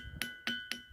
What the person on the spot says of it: ఇక్కడ glass sound కొంచెం glass sound అయితే వస్తుంది, గంట సౌండ్ లాగా వస్తుంది, కొంచెం డిఫరెంట్